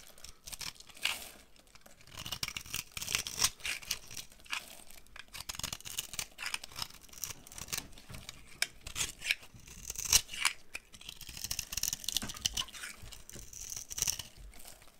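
A box cutter blade scrapes and carves along the edge of a solid rectangular bar of dry brown laundry soap held in one hand, shaving off crumbly flakes. The sound is a dense run of short, crisp, bright scraping and crackling strokes with almost no low end, rising and falling in quick bursts throughout.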